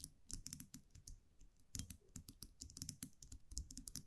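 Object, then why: Small wire muselet with metal cap. A small wire champagne muselet with a round metal cap is held in the fingers while long nails tap and scratch the cap. A rapid, uneven series of crisp, dry clicks and light scratches follows, each with a bright high edge over a soft low thump. Every tap dies away almost instantly with no ring.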